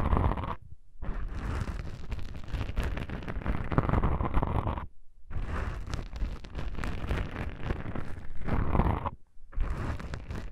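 Long pink nails scratch and grip two small black foam windscreens on a stereo microphone, producing dense, muffled scratching and rumbling that is heavy in the low end. The texture comes in long bursts broken by brief silent gaps.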